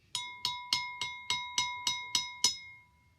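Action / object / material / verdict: tap / drinking glass filled with water / glass / full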